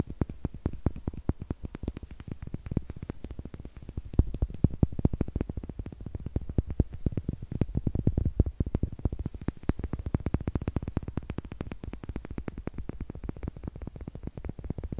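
Two small, solid wooden eggs held in the fingers are tapped with long nails and clicked together. The result is a continuous stream of rapid, dry, dull taps that are mostly low in tone. Each tap dies away almost instantly.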